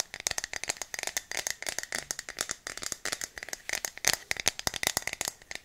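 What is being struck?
Aluminium aerosol spray can.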